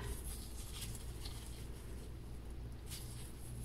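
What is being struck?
Nothing is struck.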